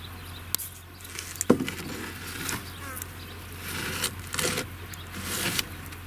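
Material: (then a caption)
Clay. A handmade clay ball, dried in the shade for a week, is knocked against wood, concrete and metal as a strength test. Short, sharp taps stand out over a steady low hum. The ball gives a good, clean sound and shows no cracks.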